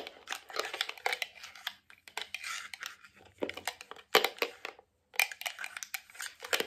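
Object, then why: Plastic cosmetic jar with lid. A medium white round hollow plastic cosmetic jar with a lid, held in the hands, is tapped on its side and lid with fingertips, nails and metal rings worn on the fingers. The result is a rapid, irregular run of dry, bright clicks and light knocks with almost no ring or low end. There is a brief silent pause just before the tapping resumes.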